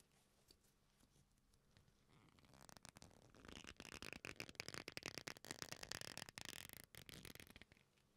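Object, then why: Leather belt strap. A black leather belt, a flat solid strap folded into a loop, is squeezed and rubbed with the fingers. After about two seconds of near silence, a dense run of bright, crackling creaks builds up and fills most of the clip. It then fades back to quiet at the end.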